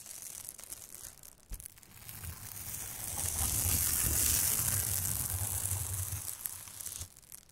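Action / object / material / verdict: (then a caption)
scrape / aluminium foil thermal insulation bag / aluminium foil / none. Two plastic scalp massagers scratch across the surface of a large, flat, crinkly silver aluminium foil thermal insulation bag. A dense, bright crinkling hiss swells to its loudest around the middle, with a low rumble underneath, then drops back near the end.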